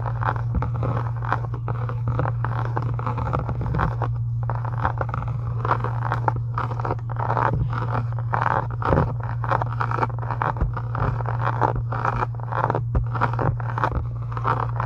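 Long nails scratch and trace the embossed pattern on a pink faux leather book cover lying flat. Dense, dry scratching rasps run steadily throughout the clip over a constant low hum.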